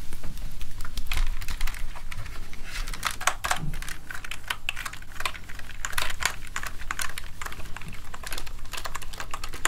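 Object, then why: Plastic computer keyboard. Fingertips press and tap the keys of a full-size plastic gaming keyboard, first resting on a desk and then lifted, while a soft cleaning gel is pressed onto it. A dense run of short, bright clicks and taps continues throughout over a low, steady rumble.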